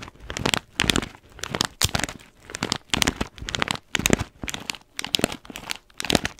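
An orange paper-foil coffee bean bag with blue tape, held in one hand, is scratched and tapped along its top by long nails. Repeated bursts of bright, crisp crinkling come with short pauses between them, each burst dying away quickly.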